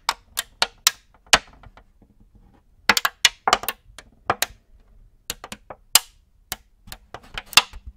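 An empty, clear plastic multi-cavity cookie tray is held in both hands close to the mic while fingers tap and squeeze it. About nineteen sharp, bright crinkles and clicks sound in irregular bursts, each dying almost instantly, with short quiet gaps between them.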